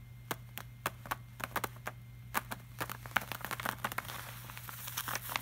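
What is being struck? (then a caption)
Plastic-laminated paper art print. Fingertips of both hands tap and rub across the shiny surface of a large, flat, glossy art print made of plastic-laminated paper. Crisp, short clicky taps with bright edges land irregularly over a faint steady low hum. Toward the end, a soft, hissy rubbing swish fills in between the taps.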